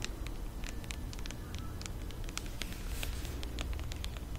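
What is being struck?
Aluminum aerosol can.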